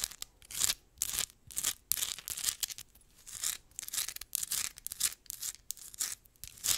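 Long acrylic nails scratch fast across a solid, palm-sized rough crystal geode rock with a crystal side, held close to the microphone. Dry, bright scraping strokes come in quick bursts with short pauses between them. The sound is high and hissy, with almost no low end.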